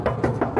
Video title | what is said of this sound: VLOG 102 : Audi S4, BMW, Mégane, Focus RS... Le chef à eu du boulot ! | C'est beau, ça sonne bien net.